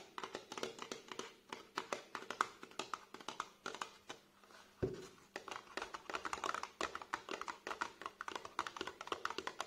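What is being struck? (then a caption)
Tall narrow cardboard box. Fingertips and nails tap quickly along the sides of a tall, narrow, printed cardboard box holding a tube product, held upright on a table. The hollow box gives off rapid, dry, papery taps with almost no ring, centered in the midrange. Near the middle, one heavier, deeper knock breaks the steady rhythm.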